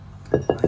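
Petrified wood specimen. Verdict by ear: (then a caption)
Fully silicified. A washed petrified wood specimen is knocked three times, each strike giving a short, glassy clink centered around 420 Hz that dies away almost at once. The glassy ring shows the wood is fully silicified, with an inside like porcelain or ceramic.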